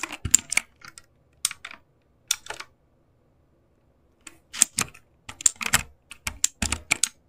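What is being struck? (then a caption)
Plastic mechanical keyboard keys. Fingertips press and tap the keys of a backlit mechanical keyboard with plastic keycaps. Short bursts of sharp, bright, clacky keystrokes come in quick clusters separated by brief pauses, each click dying out almost instantly.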